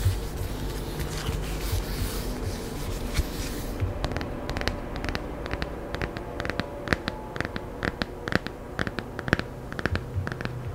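Long nails rub and scratch across the glossy cover and spine of a small, solid, laminated hardcover children's picture book held in both hands. A steady, bright rubbing hiss fills the first few seconds, then gives way to a run of sharp, dry scratches and clicks over a low, soft rumble.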